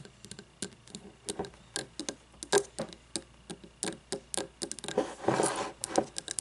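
Long nails tap and scratch the sides of an open, lidless frosted glass candle jar with wax inside, held tilted and then upright. Quick, dry, clicking taps with short glassy ticks ring briefly around a mid pitch. Near the end, a denser, brighter stretch of scratching builds before a few final taps.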